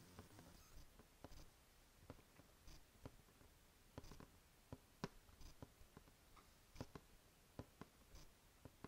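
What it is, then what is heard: Cardboard box. A closed, printed green Biotyfull Box cardboard subscription box, medium-sized and hollow, is held up beside the microphone and scratched and tapped with long painted fingernails. A soft, steady scratching rustle runs underneath while about 13 quiet, dull, low-pitched taps land at irregular intervals. Each tap is a short, dry click that stops at once with no ring.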